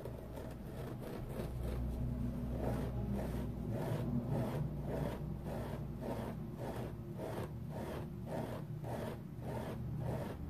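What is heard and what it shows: A flat, dry, wavy-edged foam sponge with a purple flower print is scratched and rubbed with fingernails. It makes a steady run of quick, rasping scratch strokes over a low, constant hum, with the texture rising and falling in rhythm but no clear pauses.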